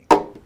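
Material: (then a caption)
Wood. A single knock on an acoustic guitar made in Hawaii, with solid wood and metal construction, a spruce top, rosewood back, maple sides and an ebony fingerboard. It is done to show by the sound that it is a real guitar. The knock gives a quick woody thump with a resonant body tone around 400 Hz that rings out briefly and fades within half a second.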